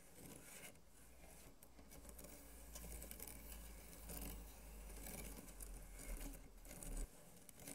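Fingertips and short nails of both hands scratch across the slats of a flat bamboo slat mat with blue-white woven bindings and a green center strip, lying on a light wooden board. The result is a quiet, dry, uneven rasping and scraping that rises and falls in irregular strokes over a steady low rumble, with faint high hiss.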